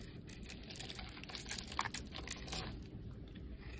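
A solid cream soap bar with a rainbow-colored carved surface, held in the hand, is scraped and shaved with a metal blade. The result is quiet, dry, crinkly scraping with soft crunchy shaving strokes that overlap in a steady stream, with bright edges over a low background rumble.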